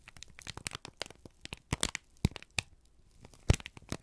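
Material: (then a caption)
Paper. A single thin, crumpled sheet of brown kraft paper, held in both hands, is squeezed and crinkled with fingertips and thumbs. It gives a dense, irregular run of sharp crackles and crinkles, with a few louder, deeper crunches standing out.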